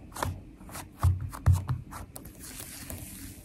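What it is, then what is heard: Glitter slime with foam beads. Long nails tap and scratch across the surface of a flat purple glitter slime filled with foam beads. Soft, low, muffled taps come in an uneven rhythm, mixed with faint bright crackles and scraping textures from the beads. A few of the taps stand out louder than the rest.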